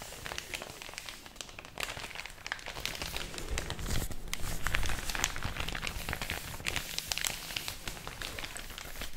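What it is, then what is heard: Paper bag crinkled. An empty thin white paper packaging bag is held between fingers with long orange nails, then flexed, rubbed and crinkled close to the microphone. The result is a continuous stream of dense, irregular crinkles and crackles with bright, crisp edges over a low rumble. It swells louder in the middle and eases off toward the end.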